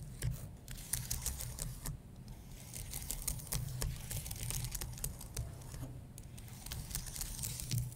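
Painted nails scratch along the top rows of a white low-profile computer keyboard with plastic keys on an aluminum base, while fingertips tap the keys. Quick, dry, bright clicks and scrapes come in uneven bursts that stop almost instantly, over a steady low hum.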